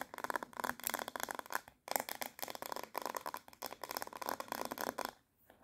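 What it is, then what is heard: Plastic hairbrush back. Long nails rapidly tap and scratch the smooth back of a handheld black glossy hard plastic paddle hairbrush with a hollow-backed head. The result is a dense, fast run of dry, bright clicks and scrapes with a hollow tone around 800 Hz. There is a brief pause near the two-second mark, and the sound drops to near silence just before the end.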